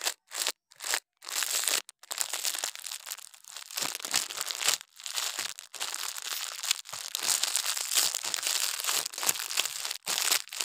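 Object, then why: Kinetic sand mound brushed with a toothbrush. The bristles of a plastic toothbrush scrape and brush across a loose, soft, granular orange mound of kinetic sand (moldable sand) sitting on a white surface. A few short, separate strokes open into dense, bright, crunchy scratching and crinkling with almost no low end. The sand crumbles and spreads under the brush.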